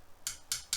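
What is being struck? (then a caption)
Plastic part of a model buggy. Three quick taps on a plastic part of a 2022 MJX Hyper Go HG-T22 brushless 1/16 buggy, tapped for comparison with its metal front bumper. Each tap is a short, dry, high click with almost no ring, duller than the metal bumper.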